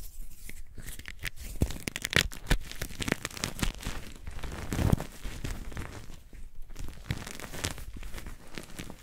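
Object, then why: Magnesium carbonate gym chalk blocks. White magnesium carbonate gym chalk blocks, gripped in both hands over chalk powder, are crushed and crumbled by the fingers. Dense crunching and crumbling goes on throughout, with many sharp dry cracks and a low, grainy body. The blocks break apart into powder.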